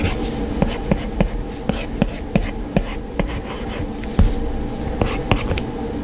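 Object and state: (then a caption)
Stylus tapping a glass touchscreen. An Apple Pencil's hard plastic tip scratches and taps across the glass touchscreen of an iPad lying flat, sketching strokes in a drawing app. About a dozen short, sharp taps stand out over soft scratching and a steady low buzzing hum underneath.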